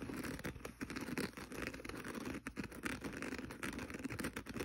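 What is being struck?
Abrasive kitchen sponge scouring pad.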